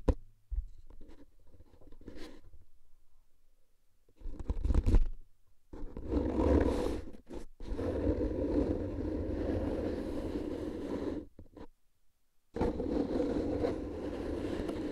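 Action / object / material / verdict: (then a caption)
scrape / paper-wrapped cardboard tube / cardboard / none. A hollow, paper-wrapped cardboard tube canister is held upright in both hands while fingertips lightly tap and scratch its paper-covered sides. The result is soft, muffled, low hollow thumps mixed with dense, dry scratching in long stretches, broken by a few brief silent pauses.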